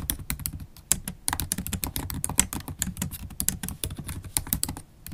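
Fast typing with long stiletto acrylic nails and fingertips on a MacBook Pro laptop keyboard, its low-profile black plastic keys set in a silver aluminum body. The result is a rapid, steady stream of short, dry clicks and taps, each a bright high tick over a soft low thud, with no ring between strokes.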